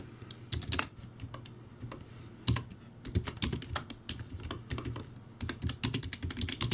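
Fingertips type rapidly on a crappy backlit computer keyboard with round white plastic typewriter-style keycaps on a plastic/metal base. The result is a fast, uneven stream of sharp, bright key clicks over a low, thumpy body, with some strokes landing noticeably louder than others.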